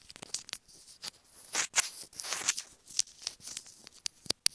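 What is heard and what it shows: A small hollow white plastic earphone inline remote microphone, held between the fingers, is tapped and scratched with long nails. Sharp, dry, bright clicks come in quick irregular bursts, mixed with softer hissy scratching and almost no low end. The taps stop dead with no ring.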